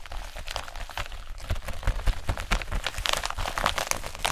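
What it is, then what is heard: Plastic bubble-wrap pouch. A hand-sized pink bubble-wrap plastic zip-lock pouch that looks empty is squeezed and crinkled with fingertips and long nails. This gives a steady run of dense, bright crinkling and sharp crackles over soft low thumps from handling. The crackles grow busier and louder toward the end.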